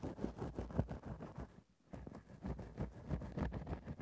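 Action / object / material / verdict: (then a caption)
scrape / synthetic fur microphone windscreen / synthetic fur / none. A grey synthetic faux-fur microphone windscreen is rapidly scratched and poked with a thin bamboo ear-pick. The result is dense, muffled, low-heavy rustling and scraping, with a brief quiet gap near the middle before it resumes.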